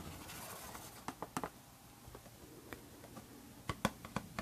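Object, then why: Paperboard perfume box. A pink Harajuku Lovers paperboard perfume box is held in hand while its sides are scratched and tapped with long red nails. A soft, continuous scratching hiss runs underneath nine short, dry taps that decay almost instantly, clustered near the start and toward the end.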